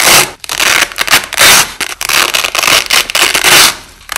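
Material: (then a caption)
Nylon. Strips of white nylon hook-and-loop tape are peeled apart by hand and pressed back down, with the audio slowed down. It produces repeated bright, crackling rips in bursts of noisy tearing, separated by brief quieter gaps.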